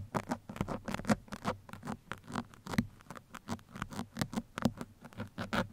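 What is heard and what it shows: Two metal pins scratch the sides and top of a black foam microphone windscreen, making a rapid series of short, soft, scratchy patters. Each stroke is a brief, dry burst centered in the low-mid range with little high content, and the bursts fall in a steady, uneven rhythm.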